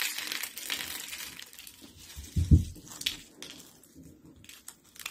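A pile of dry, cream-colored soap flakes and sheets is crushed and crumbled by hands with blue nails. The result is a steady dry crinkling and crunching with bright, papery crackle, broken by one louder, deeper crunch about midway through.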